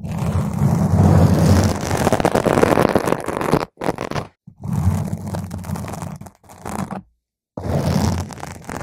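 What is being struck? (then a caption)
Foam microphone windscreen. Long pointed green nails scratch and tap directly on a round, soft, porous purple foam windscreen covering a microphone. The result is a dense, continuous scratching rustle with a heavy low rumble, broken by brief silent gaps.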